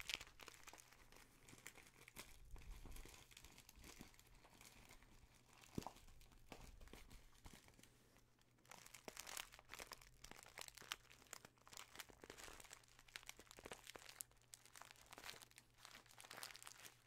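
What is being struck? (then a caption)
Small kraft paper bag, filled. A small, filled brown kraft paper bag with a white label reading 100 g is crinkled and squeezed with the fingertips right in front of the microphone. Dense, crisp crackling and rustling with a bright edge runs throughout, briefly easing around the eight-second mark before picking up again, over a faint steady low hum.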